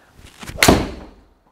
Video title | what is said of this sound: TaylorMade Stealth DHY Driving Hybrid Review - "I Could Game This, Feels Like A Rocket!" | It's hollow bodied and you can hear that in the sound. It sounds good and fiery.